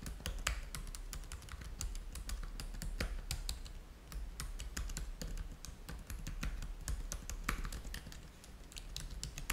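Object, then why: Plastic laptop keyboard. Fingertips type steadily on the keys of a black plastic laptop keyboard, producing a rapid stream of short, bright clicks with very little ring. A steady low hum sits underneath the typing throughout.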